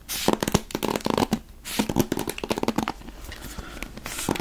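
A wooden-backed paddle hairbrush with dark bristles, held in one hand, has its bristles scratched and tapped with the fingers. Dense, bright bristly scratching is broken by quick sharp taps with a low tone underneath, over a steady close-up rustle.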